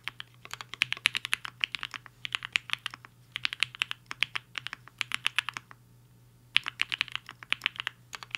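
Fingertips of both hands type on a HI-FINGER 7.5, a black-cased 75% mechanical keyboard with a hollow case and white and pink plastic keycaps, resting on a desk mat. Bursts of sharp, bright, clicky keystrokes come in quick runs separated by brief pauses, over a faint low steady hum.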